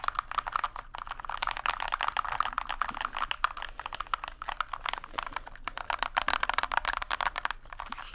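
A small white compact plastic mechanical keyboard with plastic keycaps is held upright in both hands close to the microphone while fingertips press and tap the keys. The result is a rapid, continuous stream of dry, crisp clicks centered in the midrange around 1.2 kHz, with a bright upper edge, almost no low end, and no ring after each tap.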